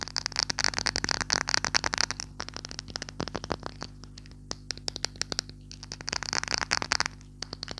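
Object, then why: Small glass perfume bottle with metal cap. Painted fingernails tap and scratch a small clear glass perfume bottle with a silver metal cap and some liquid inside, held in both hands; the bottle is briefly lifted and moved. Dense bursts of rapid, bright clicking and scratching come at the start and near the end, with sparser, sharp taps in the quieter middle. Each tap is short with almost no ring, over a faint steady low hum.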